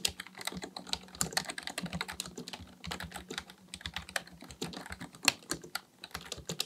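Both hands type steadily with their fingertips on a black plastic full-size computer keyboard resting on a desk. Rapid, uneven bright clicks and taps of the plastic keys follow one another with almost no ring, over a faint low hum.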